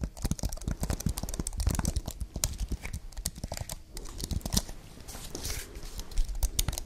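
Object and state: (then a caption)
Aluminium and plastic computer keyboard. Long painted fingernails tap and type on a slim white wireless keyboard, about 28 cm wide and solid, with plastic keys on a thin aluminium base, held up near the microphones. Rapid, irregular clicks and clacks carry dull low thumps and crisp, bright edges. Each tap dies away almost at once, with a brief softer pause near the middle.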